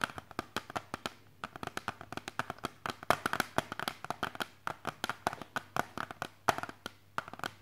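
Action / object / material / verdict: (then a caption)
tap / plastic CD jewel case / plastic / none. Fingertips and nails tap on the edges and front of a small, hollow, hard clear plastic CD jewel case with a disc inside, held in both hands. About 45 quick, dry clicks come in an irregular run, each dying away almost instantly, with a hollow plastic tone around 680 Hz and a bright top.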